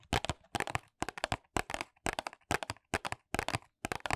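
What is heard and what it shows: Long nails tap and scratch the back face of a small white paperboard box held upright in both hands. Nine quick bursts of dry, crackly clicks come in a steady rhythm, separated by short silences.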